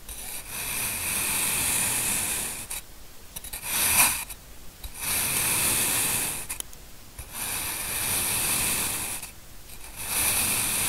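A steel knife in a black-gloved hand slices thin layers from a small, solid, cupcake-shaped mound of packed green kinetic sand, cutting and scraping through it. Long, bright, gritty rasping strokes alternate with short quiet pauses, and one sharp scrape stands out near the middle.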